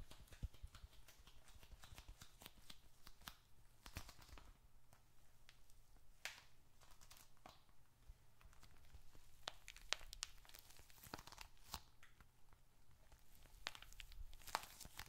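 A small, closed, dark red leather bifold wallet, hollow with bills and receipts inside, is held in the hands and rubbed and squeezed with the fingers. It produces quiet, crinkly rustling and soft creaks, scattered with sharp, bright crackles over a steady low hum.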